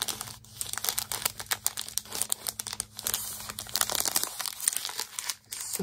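A square pad of Wonderland patterned scrapbook paper in clear plastic wrap is held in both hands while fingers crinkle and tap the wrap. The result is a dense, bright, crackly crinkling with quick sharp taps and short pauses, over a faint steady low hum.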